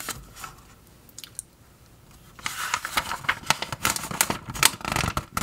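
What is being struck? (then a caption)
Glossy paper magazine pages. Fingertips lift, flip and smooth the thin glossy paper pages of an open trade magazine lying on a table. The first couple of seconds hold only a few faint rustles and soft flicks. Then a louder, bright, crinkly rustle of page turning and rubbing sets in, dotted with sharp crackles until the end.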